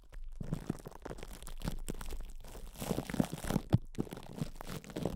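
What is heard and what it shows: Hands cup and squeeze a metal microphone head wrapped in cling film while fingertips rub the crinkled plastic. A dense, close run of soft crunching and crinkling follows, mostly low and muffled with brief brighter rustles and short bursts of heavier pressure.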